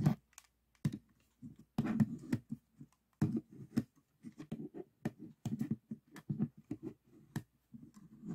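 Fingertips and short nails tap the glossy faces of a solid 3x3 plastic speed cube, about 6 cm, resting on a table, and the cube is turned to show another side. The result is a quiet, irregular run of short, dull clicks and taps, low and muffled with very little high ring, separated by brief silent gaps.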